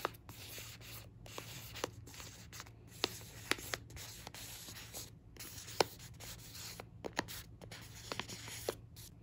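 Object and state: Plastic foil rice pouch.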